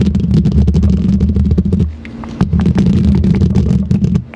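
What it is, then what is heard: Metal microphone grille scratched. Both hands scratch the hollow metal mesh grille of a silver condenser microphone with long green plastic claw nails. The result is a dense, boomy, low rumbling scrape with rapid crackling flicks, dipping briefly to a quieter hiss just before the midpoint before resuming at full strength.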